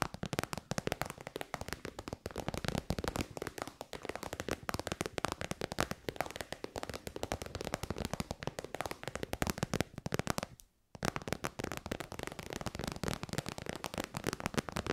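Long white nails rapidly tap a shiny pink metallic faux-leather pouch, a hollow, soft-sided synthetic bag. The result is a dense, continuous patter of short, dry clicks and soft pats with no ringing. The tapping stops for a brief silent gap near the eleven-second mark, then resumes.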